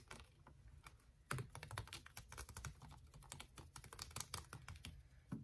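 Fingertips and nails tap and scratch along the ridged side of a hollow, clear plastic water bottle with a white cap and blue label, held horizontally. The result is a quick, irregular run of dry, bright clicks and crinkly scrapes over a soft, hollow low thump, each sound stopping almost at once.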